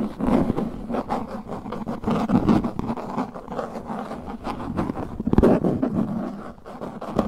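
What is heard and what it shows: Knuckles and fingertips knock and scratch the face of a translucent plastic frisbee disc, giving a steady, busy texture of dull, hollow taps mixed with dry scraping. The sound sits mostly in the low-mid range with little bright content, and one sharper knock stands out about two-thirds of the way through.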